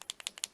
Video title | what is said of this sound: Uni Posca Paint Marker Review | you can hear the ball click back and forth you're basically stirring the paint